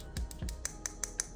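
A glass hair growth serum bottle is tapped to show it is glass, producing a quick series of short, bright clicks with a faint high ring. Low thumps sound under the first few taps, and each tap dies away almost instantly.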